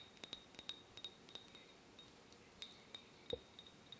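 A small drinking glass is gently tapped 17 times, giving soft, quick, high-pitched clinks that ring for only a moment. The taps are quiet and unevenly spaced, with a slightly fuller-sounding tap near the end.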